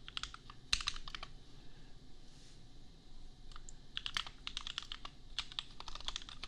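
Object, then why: Plastic mechanical keyboard. Fingertips of both hands type on a compact $250 custom mechanical keyboard with Gateron Milky Yellow switches and red and pink plastic keycaps. Quick bursts of bright, clicky keystrokes clatter in rapid runs, with a brief quieter lull near the middle before the typing picks up again. Each keystroke is short and crisp with almost no ring.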